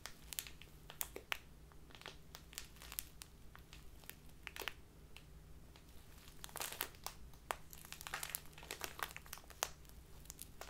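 A small, crinkly plastic bag full of loose tea is crinkled and rubbed by fingertips and long nails. The result is a steady stream of quiet, bright crackles and sharp crinkling snaps over a faint low hum, growing busier toward the end.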